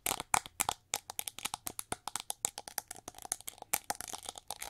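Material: Plastic.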